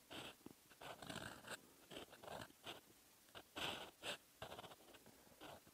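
A metal fountain pen nib scratches across a lined paper notebook page, writing in red. Short bursts of dry, bright scratching come in uneven strokes with brief quiet gaps between them, mostly high with little low end.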